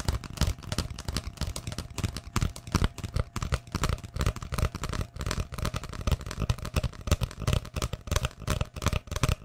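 An empty, hollow brown cardboard tube is held upright close to the microphone and tapped and scratched with long fingernails. Quick, irregular taps and scratchy rustles run continuously, each giving a short, dull, hollow thump that dies away almost at once. The sound is mostly low and boomy, with only a little bright scratch on top and a faint steady tone underneath.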